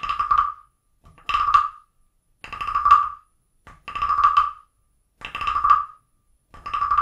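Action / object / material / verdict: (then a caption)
scrape / carved wooden frog guiro / wood / none. A small, hollow carved wooden frog guiro is played with a wooden stick that scrapes and taps along the ridges of its back. Repeated short rasping, croak-like bursts, each centered around a 1.1 kHz woody tone, alternate with brief taps and silent gaps.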